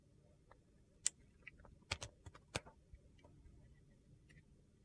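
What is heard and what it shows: A metal utility knife blade shaves brittle slivers off a solid, translucent glycerin soap bar with purple and teal pieces, held in the hand. Quiet, sharp, bright crunchy scrapes and clicks come at irregular intervals, each cutting off almost instantly over a low, steady background hiss.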